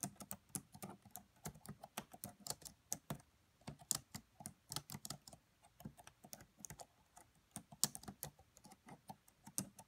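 Fingertips and long nails type quietly on the black plastic keys of a red laptop. Short, dry, bright clicks come in an uneven, steady run with tiny pauses between bursts, and each tap dies away almost instantly.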